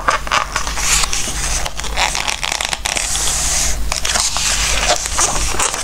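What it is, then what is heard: Glossy paper book pages. Fingertips slide and rub across the glossy pages of an open Christmas craft book, then turn the pages. The result is a continuous dry, bright, papery scraping and crackling rustle that swells and dips, with brief sharper flicks over a steady low hum.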